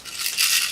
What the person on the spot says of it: リング一個一個から全部がらがら音がします